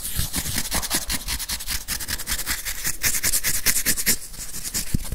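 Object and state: Plastic whiteboard eraser with felt pad.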